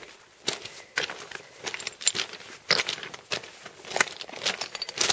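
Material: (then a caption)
Rock. Loose scree rock fragments shift and clink under hikers' feet as they cross a scree slope, making bright, glassy, crunching clatters. The short, sharp bursts come in uneven steps with little low end, sounding like breaking glass.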